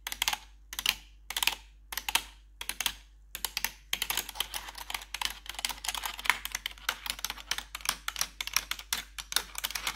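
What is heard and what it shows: A gloved hand with long pointed metal claw nails taps and scratches the hollow keycaps of a full-size black plastic computer keyboard with RGB backlight. Bursts of sharp, bright clicks come in short clusters separated by gaps for the first four seconds, then turn into a steady stream of rapid clattering taps and scrapes. The sound is thin and high with almost no low end.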